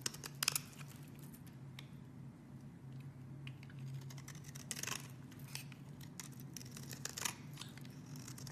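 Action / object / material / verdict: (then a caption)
scrape / bar soap scraped by a metal blade / soap / none. A metal blade scrapes across a hand-held, solid, purple rectangular soap bar, shaving off curls and flakes. Bright, crisp scraping strokes rise over a steady low hum, with sharper bursts near the start, around the middle and toward the end.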